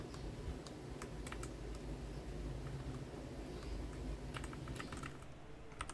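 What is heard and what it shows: Fingertips type on a white Garuda Gear GG68B wireless 65% mechanical keyboard with ABS plastic keycaps resting on a desk. Quick, bright key clicks come in scattered bursts over a steady low rumble.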